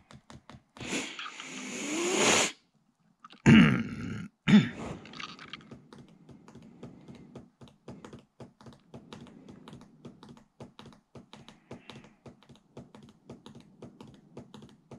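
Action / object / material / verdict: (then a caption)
tap / plastic laptop keyboard / plastic / none. Fingertips tap the plastic keys and trackpad of a large white Alienware laptop with a hollow plastic and metal body, sitting on a desk with both hands resting on the keyboard and palm rest. Early on, a rising bright swoosh and two louder clunky bursts give way to a long run of soft, irregular clicks and taps with a low, woody body around 200 Hz.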